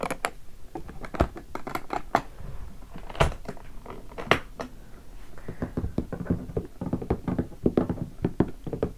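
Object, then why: Leatherette-covered guitar hard case. Fingertips of both hands tap the top of a closed, hollow, sticker-covered guitar hard case in black leatherette with brass latches, lying on carpet. The result is a quick, uneven run of short, dull, low-heavy thunks that die away almost instantly, with a few louder hits standing out.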